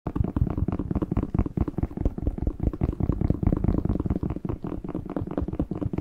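A whole, fresh, hollow red bell pepper is held in both hands close to a microphone while fingertips and short nails tap, squeeze and scratch its waxy skin. The result is a rapid, steady run of dull, low, thumping taps with soft crackling textures and almost no high brightness.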